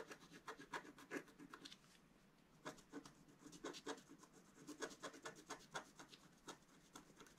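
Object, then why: Black-coated scratch-art paper scratched with a wooden stylus. A wooden stylus scratches stripes into a planet drawing on a flat sheet of black-coated scratch-art paper held down by the left hand. Quiet, dry, rasping strokes come in quick bursts with a brief pause, each one short and bright with a soft papery hiss.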